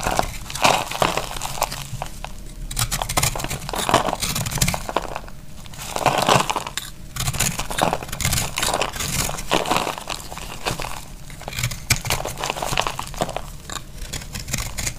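A utility knife blade scrapes a round disc of dry pressed orange soap flakes held in the hand, making a steady stream of dry, crunchy, crackling scrapes that rise and fall in short bursts. The soap crumbles away under the blade, with gritty low rustle under brighter crisp crackle.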